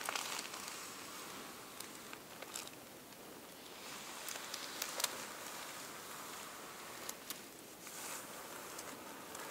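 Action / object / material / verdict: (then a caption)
scrape / thin tissue paper sheets / paper / none. Fingertips with long painted nails press, rub and crinkle a flat, layered stack of thin purple tissue paper resting on a table. The result is a quiet, steady, bright crinkling and rustling with almost no low end, broken by brief sharper crackles.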